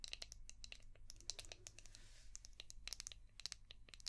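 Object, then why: Hard plastic shell-shaped brush. Long painted nails tap and scratch a palm-sized, translucent orange hard plastic brush shaped like a seashell with a ridged back. A quiet, rapid stream of crisp, bright clicks and brief scratchy rasps sounds over a faint low hum, with each tap dying away almost instantly.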